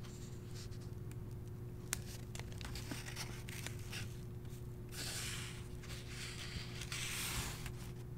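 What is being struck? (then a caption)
Paper page of a hardcover book. Fingertips and nails rub and brush along the printed page of an open hardcover novel with thin paper pages. Soft, dry scratching and brushing strokes sit over a steady low hum, with louder, brighter rustling swells in the second half.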